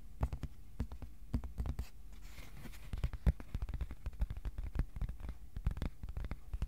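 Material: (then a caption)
Cardboard. Fingertips tap the surface and edges of a flat, thin white cardboard sheet held up at an angle in both hands. A quick, irregular run of soft, dull, low taps follows, each dying away almost instantly, with faint brushing and scratchy touches between them.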